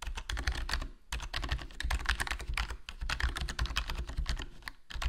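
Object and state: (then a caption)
Plastic membrane keyboard being typed on. Fingertips type continuously on a HyperX Alloy Core RGB plastic membrane gaming keyboard with a foam mod, with a black plastic body, black plastic keycaps and a hollow case. The rapid key presses sound dull and muffled, weighted toward low frequencies, with short, quickly fading clicks. Brief pauses break up the otherwise steady stream of keystrokes.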